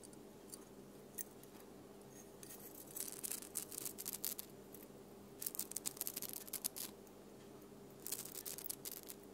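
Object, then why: Flat plastic snowflake ornament with glitter, tapped and scratched with long nails. Long painted nails tap and scratch a flat, palm-sized plastic snowflake ornament covered in silver glitter, hanging on the tree. Quiet bursts of bright, crackly tapping and scratching come in clusters over a steady low hum.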